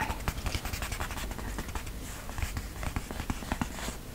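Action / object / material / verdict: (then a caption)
scrape / cloth-covered hardcover book / fabric / none. Fingertips with short nails scratch and rub across a flat cover wrapped in floral printed cotton-like fabric with white lace trim, likely a hardcover journal or book lying flat, moving along the fabric surface and the lace seam. Dry, scratchy strokes repeat in quick succession over a low, soft rumble, each one dying away almost at once.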